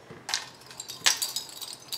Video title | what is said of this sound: (Recycled Art) Shop Update: OOAK Bottle Cap Wind Chimes | the sound of the bottle cap and it's kind of a nice clinky clinky sound